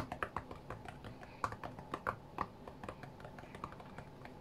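Fingertips tap quickly on the glass touchscreen of a flat white iPad. The result is a rapid, uneven run of short, dry clicks centered in the midrange around 1.1 kHz, with a few louder taps standing out and each one dying away almost instantly.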